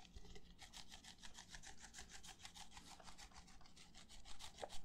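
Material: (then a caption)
Plastic. Fingertips and nails scratch and rub the outer wall of an empty, hollow red plastic party cup held in both hands near the microphone. Quick, repeated scratching strokes make a bright, hissy rasp over a low rumble, keeping a steady brushing rhythm that swells slightly louder toward the end.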